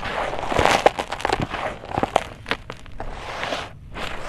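Bare fingertips and hands dig, rub and scratch through loose, dry, gritty red-brown soil with small pebbles filling a blue plastic tub. The result is a steady crunchy, crackling rustle of grains and pebbles shifting, with sharper gritty scrapes standing out along the way.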